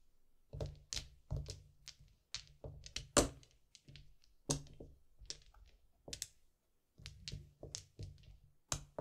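Small solid white-and-yellow plastic mahjong tiles are picked from a wall with the fingertips and set down with a tap onto a row on green felt, knocking against neighbouring tiles. About eighteen short, dry clacks sound in an uneven rhythm, each pairing a soft low thud with a bright click and dying away almost instantly.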